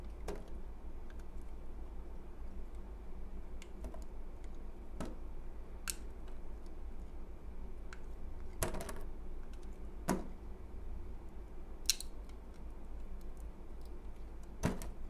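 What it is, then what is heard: Bar of soap being cut. A utility knife blade slices curls off a solid, translucent white, palm-sized bar of soap held in the hand. Short, crisp scraping cuts with bright edges sound sporadically over a steady low hum, each dying away almost at once.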